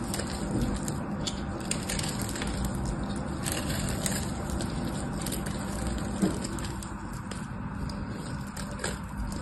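A solid orange bar of soap held in the hand is scraped and cut with a small metal knife, making crumbly shavings. A steady, dense crunching scrape fills the clip, full in the low end with faint bright crackles, and one sharper crack stands out just after six seconds.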